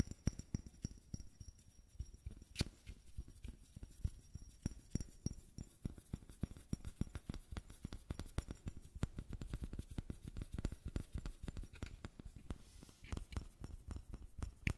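A small, matte white bottle with a square cap, apparently plastic and empty, is held in one hand and tapped with the fingertips and nails of the other. The result is a quick, steady run of soft, dull taps with deep hollow thuds and almost no ring, kept at a quiet level throughout.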